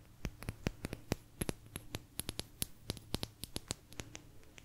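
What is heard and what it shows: A small, thin, solid blue agate slice is tapped and scratched with long nails. Quick, sharp, bright clicks with very short ring come in an irregular rapid run over a faint low hum.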